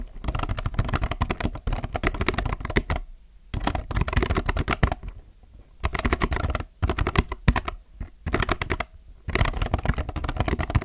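Fingertips type on a compact mechanical keyboard with plastic keycaps, producing rapid runs of short, dry clacks. The bursts are separated by brief pauses, and each keystroke has a deep, thumpy body and a bright click that stops almost instantly.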